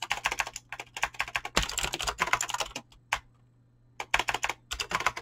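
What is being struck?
Mechanical keyboard with clicky switches and PBT plastic keycaps.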